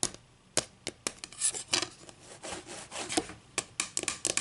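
Long green acrylic nails scratch and rub along the top edge of a solid, flat wooden ruler, close up. Sharp, bright clicks and taps are interspersed with softer, hissy scraping strokes, with almost no low end and very little ring.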